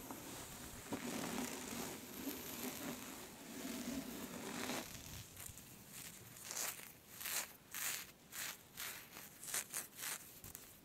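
Long nails scratch a thin, smooth black scarf with a white skull print, then scrunch and rub a gathered fold of it between the fingers. A steady, dense crinkly rustle runs for the first half, then gives way to a series of separate, bright, airy swishes of silky fabric.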